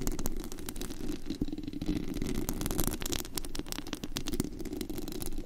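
Long pointed acrylic nails scratch and tap across the hollow, white-painted metal mesh grille of a large condenser microphone, fingers moving over the dome. It makes a dense, continuous rasping and rattling with many quick clicks, heavy low rumble beneath and bright crackle on top.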